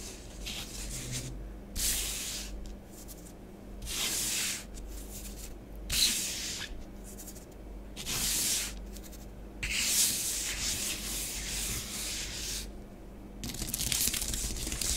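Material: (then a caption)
Powder. Long acrylic nails and fingertips trace and scratch lines through a thin layer of orange bath bomb powder spread over a flat grey plastic tray. Bright, hissy scratching strokes come in repeated bursts, separated by quieter rubbing gaps.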